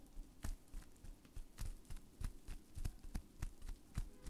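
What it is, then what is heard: Plastic bubble wrap being popped. Both hands, wrapped in clear plastic bubble wrap and held on either side of a microphone, squeeze the bubbles so the fingers pop them. About a dozen short, dull pops come at an uneven, fast pace. Each is a deep, muffled thump with a faint bright crackle that dies away almost at once.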